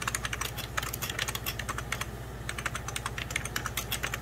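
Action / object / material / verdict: tap / plastic computer keyboard / plastic / none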